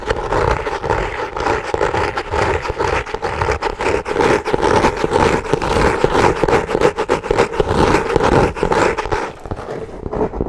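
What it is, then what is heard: Kraft paper covered notebook. Long nails scratch the cover and top edge of a brown, textured, kraft-paper-covered hardcover notebook with ribbon bookmarks. The result is a dense, fast, irregular rasping scratch, centred in the midrange with a faint steady tone, that runs for about ten seconds and fades slightly at the end.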